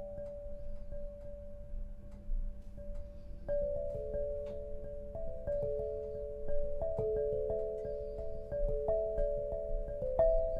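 An 8-bar lithophone of solid black granite slabs on a low frame is struck with two soft-headed mallets, red and green balls on wooden sticks, to play a melody. A single sustained mid-pitched tone rings first, then a run of overlapping notes sounds and blends over a low, steady rumble.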